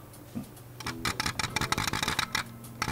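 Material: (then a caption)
Metal and plastic. A SIGMA 30mm f2.8 DN E-mount lens is shaken with the camera powered off, and something inside rattles. About eleven quick, dry clicking clatters are heard in uneven bursts. The rattle does not happen with the power on and is considered normal, not a concern.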